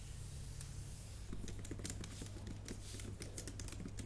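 Long painted nails and fingertips type on a MacBook Pro keyboard with plastic keys set in a solid aluminum body. After about a second of quiet with a steady low hum, a run of quick, bright clicking taps begins. The taps continue through the rest of the clip.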